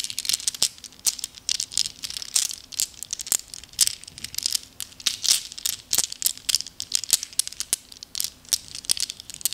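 Small, solid, flat glass gems are held loose in both cupped hands and shuffled with the fingers, so they clink together. Rapid, bright, crisp clicks and clinks run almost continuously, with no low end and very short ring.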